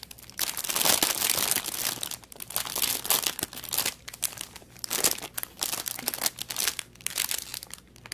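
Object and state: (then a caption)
Plastic packaging bag. The loose end of a thin clear plastic packaging bag holding an artificial aquarium plant is crinkled, twisted and rubbed between the fingertips. A dense, bright crackling rustle fills the first two seconds. It then breaks into shorter crinkly bursts with brief quiet gaps, with almost no low end.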